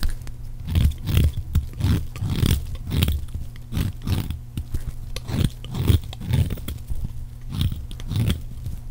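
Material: Soap.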